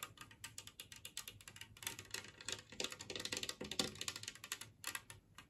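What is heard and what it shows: Long nails tap and scratch across the glaze and rim edge of a large, flat, empty green glazed ceramic plate shaped like a Christmas tree. The result is a quick, irregular run of bright clicks and scraping strokes with almost no ring, busiest in the middle and thinning out toward the end.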